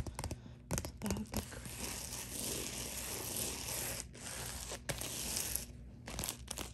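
Long dark nails scratch and tap across the face and sealed top edge of a white, bubble-textured plastic poly mailer lying flat. A steady, bright crinkling scrape fills most of the clip, with short sharp taps near the start and end.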